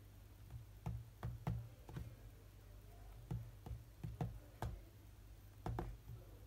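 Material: Glass.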